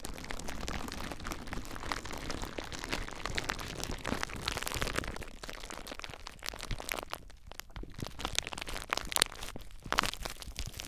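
Fingers squeeze and crinkle clear plastic bubble wrap wrapped tightly around a recorder, producing a dense stream of close, bright crackles and crunches with some low rumble. After about five seconds the crinkling thins out into quieter, scattered sharp snaps and pops that stop almost instantly.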